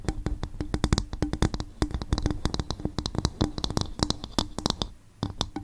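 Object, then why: Upturned coconut shell bowl. Long fingernails of both hands tap rapidly on an upturned, hollow, empty coconut shell bowl. The taps are quick, dry clicks with bright edges over a low, hollow body and a faint ringing tone. They pause briefly near the end, then resume.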